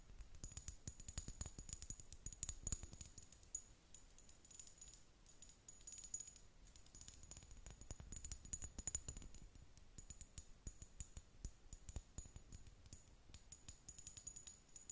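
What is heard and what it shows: Long nails tap rapidly and lightly on the body of a small amber (brown) glass serum bottle with a dropper cap, held close. The result is a dense stream of short, bright glassy clicks and clinks with a faint steady high tone and a soft low thump under each tap, running the full length without pause.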